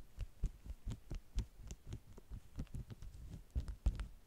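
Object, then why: Waxed cotton food wraps. Long manicured nails and fingertips tap and scratch the top sheet of a flat, folded stack of bee-print, beeswax-coated cotton wraps lying on a white table. The result is a quiet, uneven run of soft, dull, low thumps with almost no ring, each touch landing as a muffled, deep pat with faint high scratchy flecks.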